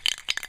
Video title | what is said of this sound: Painting a Geo Metro, Part 4 How to paint your own car. | You might not hear it until you keep shaking it, and then that ball bearings get loose and it starts to do it